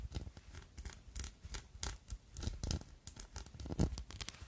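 A pink-tinted, diamond-faceted, palm-sized glass perfume bottle with a gold metal cap, filled with liquid and held in the hand, is tapped and scratched with long glittery acrylic nails. The result is a quiet, rapid run of short, dry clicks and scratchy scrapes, with brief bright ticks over a soft low thump.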